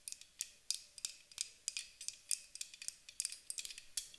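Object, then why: Aluminium aerosol spray can. Long acrylic nails tap and scratch along the body of a medium-size, white Avène thermal water spray can, a hollow, pressurized aluminium aerosol can. A quick, irregular run of sharp, bright clicks and light scrapes is heard, very high and thin with almost no low end. Each tap dies away almost instantly.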